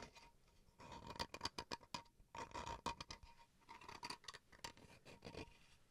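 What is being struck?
Small bamboo wooden chopping board.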